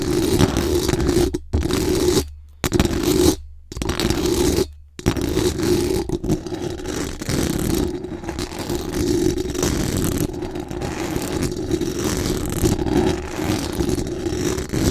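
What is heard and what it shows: Very long acrylic nails scratch fast and aggressively across the hollow metal mesh dome grille of a large condenser microphone. The result is a dense, continuous scraping rasp with a strong low-mid body, broken by a few brief silent gaps in the first five seconds before running on steadily to the end.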